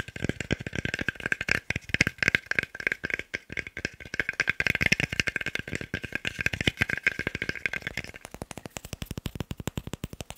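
A small, solid, pale wooden cube held in the hands is tapped rapidly with fingertips and nails. The result is a dense, continuous stream of dry, clicky taps with a bright woody ring around 2 kHz that dies away almost instantly. The taps grow slightly sparser and crisper toward the end.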